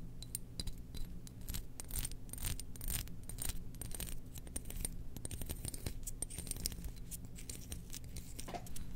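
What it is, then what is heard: Ceramic jar lid. A small domed glazed ceramic jar lid, held in one hand, is scratched and tapped with long nails while the jar base sits beside it untouched. The result is a steady 9-second stream of dense, bright clicks and short scratches with very little ring, over a constant low hum.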